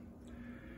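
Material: Nothing is struck.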